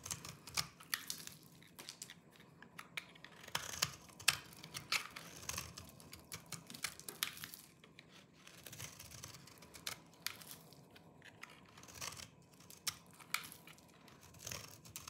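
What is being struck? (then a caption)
Bar of soap. A small knife with a yellow-tan blade shaves and scrapes the surface of a hand-sized, dry green soap bar held in one hand, and crumbly flakes fall off. Quick, dry, crunchy scraping clicks come in uneven bursts, bright and high with little low end.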